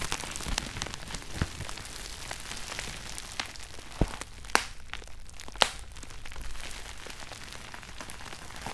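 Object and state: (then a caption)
Plastic bubble wrap. Bunched clear plastic bubble wrap, held over a red shoebox lid, is squeezed with both hands to pop the bubbles. A steady, bright crinkling crackle runs throughout, with a few sharper, louder pops standing out near the middle.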